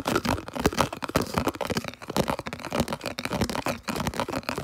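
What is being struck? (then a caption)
Plastic food container. Fingers rapidly scratch and tap a round, hollow, empty, translucent red plastic food container held close. The result is a dense stream of crisp, crinkly scratches and dry tapping bursts that come in quick, uneven clusters with very short decay.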